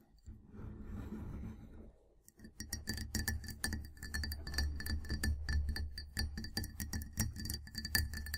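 Long nails tap the sides of a clear glass mug with a handle, full of tea and standing on a table, using both hands. After about two seconds of soft, low rustling, quick irregular clinks begin, each with a short, bright glassy ring over a steady low hum.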